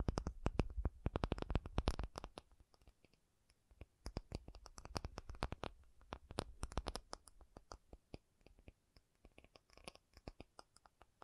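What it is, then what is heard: Tapped acrylic surface. An acrylic object is tapped in quick, uneven bursts of short, sharp clicks that stop almost instantly. A dense flurry in the first two seconds gives way to a brief lull, then tapping resumes around the four-second mark and thins into scattered taps toward the end.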